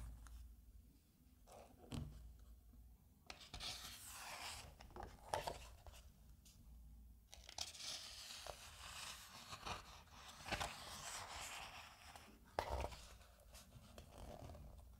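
A hand rubs and smooths the open glossy paper pages of a thin softcover magazine flat with the palm and fingers, then flips the pages. Quiet, bright sliding and rustling swells in long stretches, broken by short, crisp snaps and papery crinkles as the pages turn.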